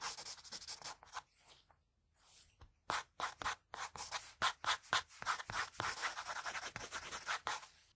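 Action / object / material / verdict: scrape / graphite pencil on a sheet of drawing paper / paper / none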